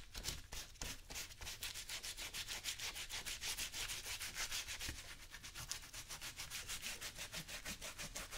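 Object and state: Leather work boot being brushed.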